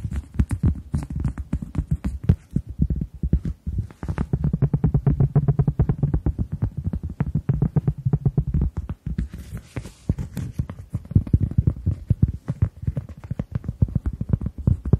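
A round, flat, solid, hand-sized cork coaster is held in front of the microphone and tapped and scratched with long nails. It produces a rapid, dense stream of short, dry, muffled taps with a deep low thump around 105 Hz and almost no high-end brightness. Faint scratchy rustles run between the taps.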